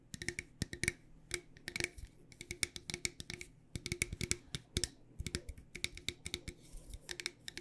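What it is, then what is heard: Metal tea tin tapped with nails. A medium, decorated, hollow cylindrical metal loose tea tin, held in both hands, is tapped with long dark nails on its sides and lid. The result is a rapid, uneven series of sharp, bright clicky taps with a metallic tone around 2.2 kHz. Each tap dies away almost instantly, over a faint low hum.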